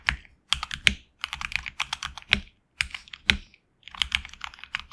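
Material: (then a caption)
Plastic. A HyperX Alloy Origins Core tenkeyless mechanical keyboard with HX Red switches and grey and red PBT keycaps, resting on a deskmat, is typed on with the fingertips of both hands. Quick bursts of bright, crisp key clacks come in uneven runs separated by short pauses, each stroke dying away almost instantly with very little low thump.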